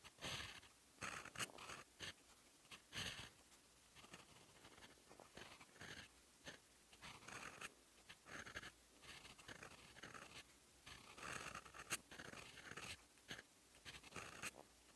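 A fountain pen's steel nib scratches across a sheet of lined writing paper while writing in teal ink. The result is a series of short, bright, dry scratching strokes in quick bursts with brief pauses between them, over quiet background hiss.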